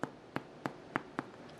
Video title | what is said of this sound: Easy Milk Bread Recipe - Start to Finish Milk Bread Recipe with Tips and Tricks | आप इसको नीचे से हल्का सा टैप करेंगे और इसमें खोखली सी आवाज़ आती है जैसे अभी आ रही है, तो समझ जाइए कि ब्रेड आपकी बहुत अच्छी तरह से बेक हो चुकी है।